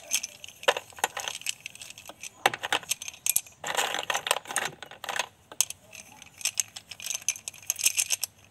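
A handful of about a dozen solid pink blackboard chalk sticks is held between both hands and rubbed and shaken above a yellow plastic basin holding more loose chalk. The sticks clack against each other in quick, dry, bright bursts and scraping rustles that stop almost instantly, with brief quiet gaps between.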